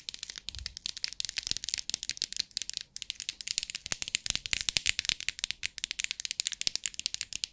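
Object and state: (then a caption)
Plastic bead organizer box. Long acrylic nails tap and scratch the lid of a small, rectangular, clear plastic compartment bead organizer box held in the hands, and the box is shaken so the loose beads inside rattle. A rapid stream of bright, crisp clicks and rattles, almost entirely high-pitched, with each tap dying away instantly.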